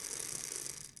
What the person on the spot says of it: during inhalation you should hear the capsule rattle as it spins inside the inhaler